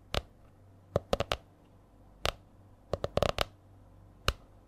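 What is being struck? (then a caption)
Laminated hardcover spiral notebook. Long nails tap on the stiff laminated cover of a purple A4-size hardcover spiral notebook held in front of the mic. Short, dry, clicky taps come in an uneven rhythm, some single and some in quick clusters, each with a bright crisp edge and a hollow knock around 590 Hz. The taps die away almost instantly over a quiet, low background hum.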